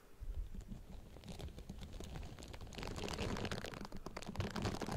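Long nails and fingertips scratch and tap the silicone bristles of a pink silicone facial cleansing brush pad draped over the grille of a Blue Yeti microphone. The result is a dense, irregular run of soft, low-heavy rubbing and crackling taps with bright, crisp scratches on top. The sound grows fuller and louder after the first few seconds.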